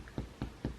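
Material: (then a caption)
Chest wall. Chest percussion over a healthy lung: a middle finger lies flat on the chest and its middle phalanx is tapped with the other fingers. Three short, low, hollow thumps sound around a low pitch and die away almost at once. The hollow, barrel-like resonance is the normal finding.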